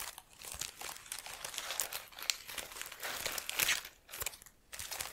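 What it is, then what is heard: Artificial plastic plant. Fingertips and long nails crumple and rub the leaves of an artificial plastic-leaf plant held up in a bunch. The result is a dense, bright crinkling and crunching with almost no low end, rising and falling in bursts with brief quiet gaps near the end.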